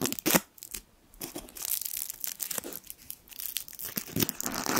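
A small gold foil sweet wrapper is twisted and crinkled between the fingertips, giving bursts of bright, crackling crinkles. A loud crackle opens the clip, followed by a brief lull and then a steady run of rustling, crinkling texture that rises again near the end.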